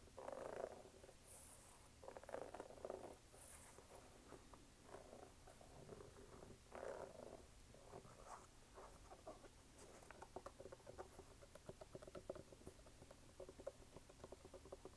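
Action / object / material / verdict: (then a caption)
scrape / rubber sneaker sole and sidewall / rubber / none. Fingernails tap and scratch on the brown textured rubber outsole and white rubber sidewall of a red canvas sneaker. Quiet, mid-pitched scratching comes in short rasping bursts, with faint high hisses early on, then gives way to a steady run of quick, dry taps that stop almost at once.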